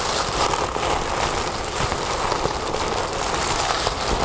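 Fingernails scratch and crinkle folded orange tissue paper resting on a wooden table. The result is a steady, dense crackling rustle with no separate hits, strongest in the low mids with a bright papery hiss on top.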